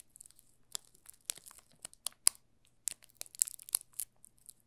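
A yellow solid bar of soap wrapped in clear plastic film is held and turned in both hands while fingertips rub and crinkle the film on its top and sides. Soft, bright crinkles and sharp crackles come in irregular bursts, with almost no low end and each snap dying away at once.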